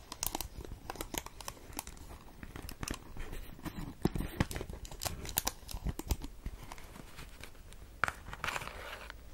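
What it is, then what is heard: Cellophane-wrapped cardboard pack. A small, hollow rectangular cardboard cigarette pack, still in its plastic film, is held close to the microphone. Long nails tap and scratch it, and the wrapper crinkles. The result is a dense run of sharp, dry ticks and bright rustling that has almost no ring.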